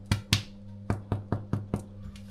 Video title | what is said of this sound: #7 @du pain pour les nomades | ça sonne creux. Donc à partir du moment, si ça sonne creux, c'est que c'est bon.